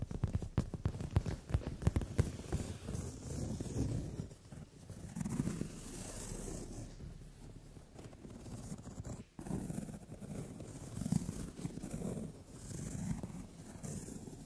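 Long nails tap and scratch quickly across a brown leather padded sofa seat. The result is a dense run of soft, dull taps and rubbing scrapes, heaviest in the low range, with sharper clicks at the start and a steady scratching texture after that.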